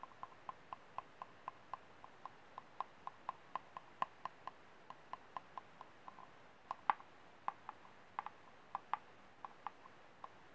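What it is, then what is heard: Empty plastic cup. A small, empty, ribbed white disposable plastic cup, held upside down, is tapped and scratched with painted fingernails on its hollow base and ribbed side. About 35 quiet, sharp, clicky taps come at a steady, fairly quick pace. Each has a light hollow tone near 850 Hz and dies almost instantly over a faint hiss.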